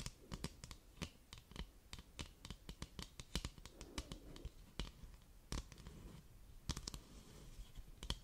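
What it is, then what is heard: Cardboard box. A flat, hollow white cardboard product box with a printed label is held in both hands and scratched and tapped across its surface with long, pointed dark red nails. The result is a rapid, irregular run of sharp, dry clicks and taps over a soft, hollow scratching texture, with bright ticking edges on each strike.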